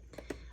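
Three quiet taps on the back of a braille notetaker's hard plastic case, played so the case material can be heard. Each tap is a short, dull knock centered in the low-mids with almost no ring, and the sound identifies the case as hard plastic.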